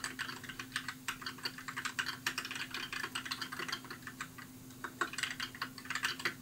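Fingertips type steadily on a compact white mechanical keyboard with plastic keycaps, producing a rapid run of short, bright, clacky keystrokes. Each click is crisp and dies away quickly, with a faint steady low hum underneath.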